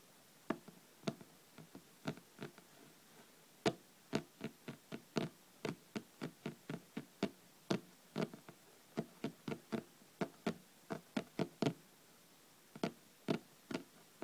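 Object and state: Hardcover paper book.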